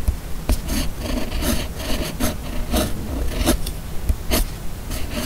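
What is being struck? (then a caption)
Steel pen nib on a paper sheet. A steel fountain pen nib on a red pen held in the fingers writes cursive across a flat white sheet of paper. The nib gives a continuous dry, rasping scratch in short strokes, with bright bursts as letters form over a low background rumble.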